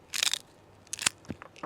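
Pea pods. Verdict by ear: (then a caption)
Fresh. Fresh pea pods are snapped and crushed close up, giving two bursts of bright, crisp crunching with short crackles between. The loud crunch shows the pods are fresh.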